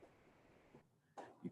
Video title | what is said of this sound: Human Anatomy Lecture (Day 3) | You're tapping on it. You hear that bone in there?